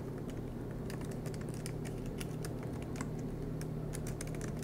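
Both hands tap with their fingertips on the black plastic, low-profile, solid keys of an aluminum MacBook Pro laptop. Quick, irregular light clicks sit over a steady low hum, with the level staying fairly even throughout.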